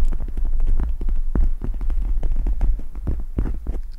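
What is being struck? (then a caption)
Plastic gel-bead eye mask. Long red nails and fingertips scratch and tap a pink gel-bead eye mask with plastic gel-bead inserts draped over the microphone. The result is a dense, steady stream of muffled thumps and soft clicking scratches over a deep, throbbing low rumble, with only faint bright ticks on top.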